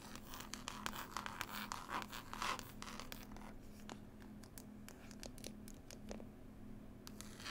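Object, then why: Closed hardcover book with textured cloth cover. Long nails scratch and tap across the label and textured green cloth cover of a closed, solid hardback book. Dense, bright scratching fills the first few seconds, then thins into sparser, crisp taps and short scrapes over a faint steady low hum.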